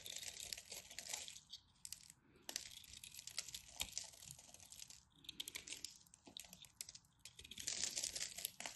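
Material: Soap.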